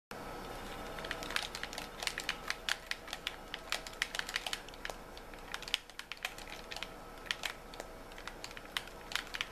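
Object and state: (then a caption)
Plastic game controller. Fingertips and nails tap and click on the shell and buttons of a white, hollow plastic Xbox-style gamepad held in both hands in dim light. The result is a fast, irregular stream of short, dry, bright clicks over a low steady hiss, with a few sharper snaps standing out.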